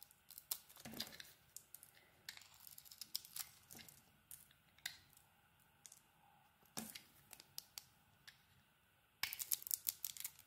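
A solid pink ISANA soap bar with a heart print is held in hand and shaved with a metal blade, the soap peeling off in curls. Soft, crisp scraping and crackling strokes come in quick bright bursts with a quiet pause in between, then a denser flurry at the end.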